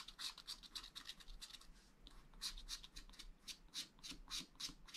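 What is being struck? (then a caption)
Wax-coated scratch art paper scraped with a wooden stylus. A wooden stylus makes fine, fast scratching strokes across the tree area of a black wax-coated scratch art sheet in a flat spiral pad. The strokes come as quick, bright, hissy rasps, roughly four per second in uneven bursts, with a short pause around the two-second mark before they resume.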